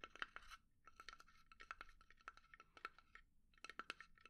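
Long nails scratch and tap a small hollow pine box resting on a palm, giving quick, dry clicks and scrapes over a faint hollow ring near 1.4 kHz with bright edges. The taps come in rapid, uneven bursts with short pauses, all at a quiet level.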